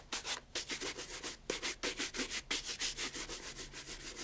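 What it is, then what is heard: Leather loafer being brushed. A brown pigskin leather loafer fitted with a wooden shoe tree is held in hand while its upper and leather sole are brushed fast with a wooden-backed horsehair shoe brush. Quick, bright, airy bristle swishes repeat in a steady back-and-forth rhythm, each stroke a short hissing rub with a faint lower scuff.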